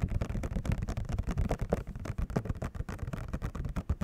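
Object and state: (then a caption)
Cardboard and plastic controller box. A Rock Candy controller box, made of printed cardboard with a clear plastic window and hollow with the controller inside, is tapped rapidly across its front window and cardboard with fingertips and nails. The result is a dense, steady stream of quick, dull, hollow knocks, weighted toward the low end around 94 Hz, with almost no brightness. Each tap dies away almost at once.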